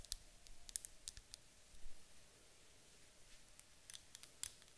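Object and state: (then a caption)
Glass candle jar. Long acrylic nails click and fingertips tap on the sides of a medium white glass candle jar with a gold lid, which appears to be filled with wax. Quiet, sharp, bright clicks come in irregular clusters over a low background hiss. Each click dies away almost instantly, with no ringing.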